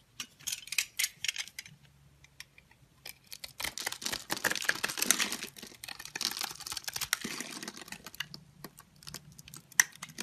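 A metal box-cutter blade scrapes small cubes off the surface of a solid orange and white striped bar soap, pre-scored into a grid and held in the hand. Short, bright, crisp clicks and crackles come in bursts, pause briefly, then build into a dense stretch of scraping before thinning out again.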